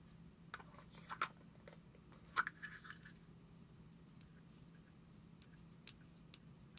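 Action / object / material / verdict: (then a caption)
tap / plastic deodorant stick / plastic / none. A small cylindrical plastic deodorant stick with a white cap and hollow shell is held in both hands and tapped and scratched with long acrylic nails. Sharp, hollow clicks with a bright tone around 1.5 kHz come in uneven bursts, some with soft scratching between them. A quiet, steady low hum runs underneath throughout.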